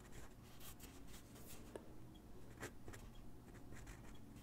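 A graphite pencil sketches across a single white sheet of drawing paper resting on a wooden desk, making soft, scratching strokes. The quiet, uneven rasps come with bright hissy bursts over a low, steady background hum, and each stroke ends quickly without lingering.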